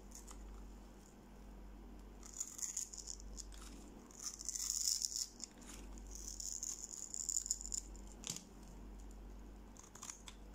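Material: Soap.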